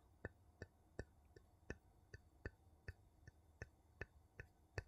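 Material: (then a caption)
Metal. The edge of a wooden scoop scrapes and taps along the rim of a ridged gold metal screw lid on a small empty glass jar. Thirteen quiet, short, sharp taps land at a steady pace, each a dull low knock with a faint bright tick that dies away almost instantly. Soft, low scraping fills the gaps between them.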